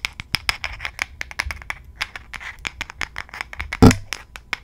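Long gold nail claws scratch and tap the flat, solid wooden back of a light wooden paddle hairbrush, held with the back facing the mic. The result is a rapid series of short, dry clicks and bright scratches, with one louder, fuller tap near the end.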